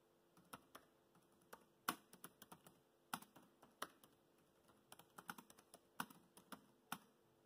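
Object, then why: Plastic laptop keyboard keys. Fingertips type on a laptop keyboard with black plastic keys, producing about 22 quiet, crisp taps spaced irregularly across the clip. Each keystroke is a short, bright click that dies away almost at once, with little low-end weight. A faint steady hum sits underneath.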